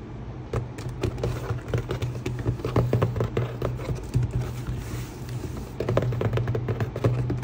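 Fingertips of both hands rapidly tap and rub the top of a medium, closed, hollow corrugated cardboard shipping box with a taped seam and labels, lying on a table. The result is a dense, continuous patter of short, dull, hollow thumps with soft scratchy rubbing between them, heavy in the low end and with almost no bright content.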